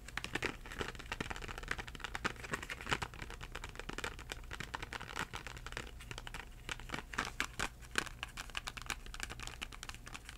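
A small Crayola cardboard box of 8 crayons, hollow and full of crayons, is held in both hands and tapped with short-nailed fingertips. Rapid, dry, clicky taps run continuously, with a light papery crinkle and a faint low hum underneath. Each tap dies away almost instantly.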